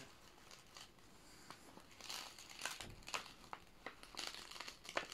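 Palms and fingertips press, smooth and rub a thin, flexible clear plastic sheet protector holding a red and white paper poster flat as it lies open on an old binder. The sleeve gives off quiet, bright crinkling and crackling, with scattered sharper crackles standing out over a soft rustling bed.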